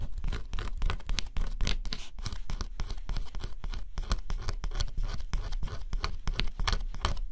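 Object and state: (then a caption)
Scratch-off cardboard puzzle. A stylus scratches the coating off a flat cardboard scratch-off jigsaw puzzle, exposing the color beneath. Rapid, dry scraping strokes follow one another steadily, each a brief bright rasp over a dull low rumble of the stylus against the cardboard.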